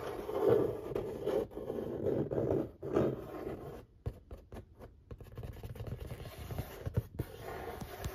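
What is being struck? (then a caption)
Corrugated cardboard pizza box. Fingertips rub and scratch across the printed surface of a large, flat corrugated cardboard pizza box lid. For the first four seconds there is steady, papery scraping centred in the mid-range, and after that it breaks into quieter, scattered scratches and light taps.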